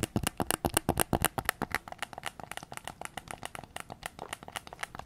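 Fingertips and nails tap rapidly on the back of a white PS5 controller's hollow plastic shell while it is held. Around 35 short, dry clicks and taps come in an uneven rhythm, with no ring after each one, loudest in the first second and a half before settling into softer, quicker taps.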